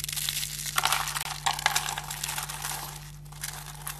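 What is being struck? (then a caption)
Soap flakes. Bare fingers grab, squeeze and crush handfuls from a pile of thin, solid, dry green soap shavings on a table. Dense, crackly crunching fills the clip, bright and high with a few sharper snaps, easing slightly toward the end. A steady low hum sits underneath.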